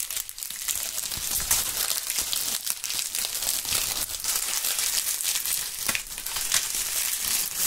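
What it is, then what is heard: Dry autumn leaves. Dry brown autumn leaves are held in both gloved hands beside binaural microphones and crumpled and rubbed with the fingertips. The result is a steady, dense crackling crunch that is bright and crisp, with almost no low end and small sharper peaks scattered through it.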